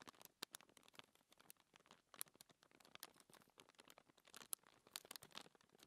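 Fingertips with long manicured nails scratch and rub across a flat, thin white paper sheet lying on a dark table, with ringed fingers resting on the paper. The result is a quiet, dense run of quick, dry scratching ticks and rustles that are bright and high with almost no low end, with a few sharper nail clicks standing out.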